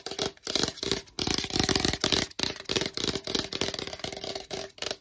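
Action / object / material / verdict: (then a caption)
tap / plastic supplement tub / plastic / none. A hollow black plastic collagen tub, held upright in both hands, is tapped fast with fingertips and long nails on its sides and lid. The result is dense bursts of bright, clicky tapping with short gaps between them. Each tap has a brief hollow tone near 400 Hz that dies away almost at once.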